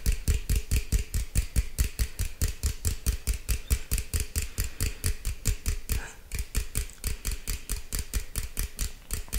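A green aluminum beverage can, held at an angle, is tapped rapidly with fingertips and nails, giving about 43 quick, short taps with a dull low thump and bright clicky edges. The tapping keeps a steady, slightly uneven rhythm, easing briefly around the six-second mark before picking back up.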